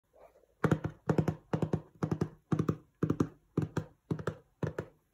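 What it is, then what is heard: Cardboard box tapped with fingertips. Fingertips and short nails tap and scratch the front panel of a medium-sized, hollow, glossy printed cardboard box for LED string lights, likely with the lights still inside. Nine quick bursts of dull, low, hollow taps come in rapid clusters, each dying away almost at once with no ring. A faint soft scratch is heard just before the first burst.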